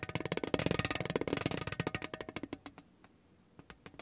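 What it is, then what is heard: Thin tin tray under a rolled spiky ball. A spiky rubber massage ball is rolled under the palm across a large, thin lithographed painted tin tray, making rapid, dense tapping rattles on the thin metal. The clicks are dry and short with a faint low ring around 290 Hz and a bright edge. After about two and a half seconds the taps thin out into scattered, quieter ticks.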